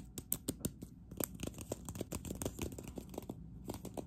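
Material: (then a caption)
Ceramic. Long acrylic nails on both hands tap and scratch a hollow, green matte textured ceramic cup in a fast, uneven run. Short, dry clicks with bright, crisp tips and a low hollow body die away almost instantly, with faint scratchy texture between them.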